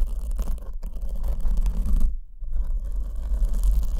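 Long acrylic nails scratch a soft black foam windscreen over the left condenser microphone while the other hand holds the back of the foam. This produces a dense, rustling scrape over a heavy, deep rumble. The sound breaks off briefly past the halfway point, then resumes.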